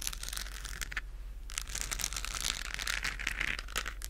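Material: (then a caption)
Plastic. Long nails scratch a hollow, pink-lit, textured plastic galaxy moon lamp held in both hands, producing a dense, bright crinkling and scraping that runs steadily through the clip. The scratching pauses briefly near the one-second mark, then resumes with a low steady hum underneath.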